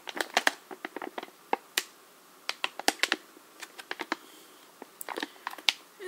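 Short nails painted black tap and crinkle the front of a small sealed metallic foil and plastic slime kit pouch held up in both hands. The result is a quiet run of quick, dry, bright clicks and crackles with no low end and almost no ring, coming in uneven bursts with brief pauses between them.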